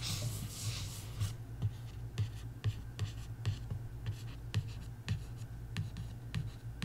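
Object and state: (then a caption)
Paperback book cover, nails scratching and tapping. Long nails trace, scratch and tap across the same paperback coloring book cover. A bright, breathy scratching sweep opens the clip, then about a dozen short, dry taps follow. The taps die away quickly over a steady low hum.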